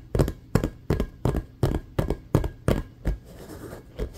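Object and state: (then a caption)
Rubber basketball. Fingernails and fingertips tap fast and scratch on an inflated, hollow, patterned rubber basketball resting below the camera. Quick, steady, dull low thumps with very short decay give way to a softer scratching rasp before a final tap.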